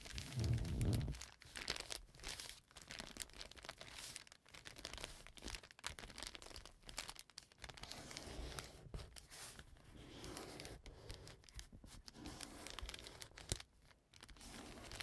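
Fingertips and nails rub and scratch a flat brown kraft paper bag with a dark stripe as it lies on a table. The result is a continuous, irregular crinkling and scratching, with dense bright rustle and brief crunches. A stronger low thump comes near the start.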